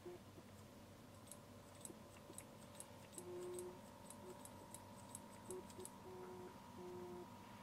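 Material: Metal.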